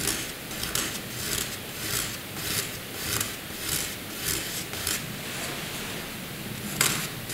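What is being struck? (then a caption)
Pencil scribbling on paper. A pencil makes light, curved scribble strokes on a flat sheet of white drawing paper. Soft, bright scratching swells and fades in an uneven back-and-forth rhythm, with most of the energy in the high range and little low end.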